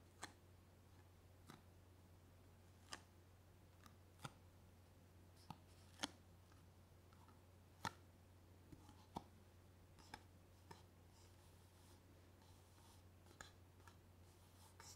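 A small, thin, empty, hollow clear plastic drinking cup is held in one hand and tapped and scratched with the fingernails of the other. About fourteen sharp, dry, bright clicks and taps come at irregular intervals, with faint scratching between them over a steady low hum. The overall level is quiet.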